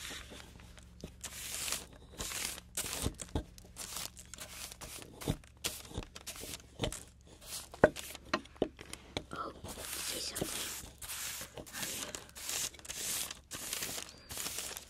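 A small, crumbly plaster excavation block sits on a wooden chopping board, steadied by one hand while the other scrapes and chips it with a metal excavation pick and a palette knife, then brushes the loose debris away with a paintbrush. Bright, gritty scraping bursts alternate with sharp little ticks and soft crumbling rasps, with a faint low hum underneath.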